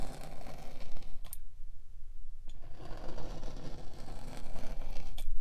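A metal spiked pinwheel is rolled repeatedly over the top of a solid pink kinetic sand slab, scraping and pricking the sand. The result is a steady, grainy, crackling scrape with a low rumbling undertone, broken by a few brief bright ticks.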